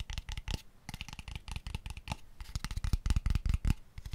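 Fingertips tap fast on a small, light-coloured, hollow wooden box with open ends, held beside the microphone. It makes a rapid, uneven run of short, dry knocks with a deep, hollow thump and almost no ring. The tapping grows a little louder and busier toward the end.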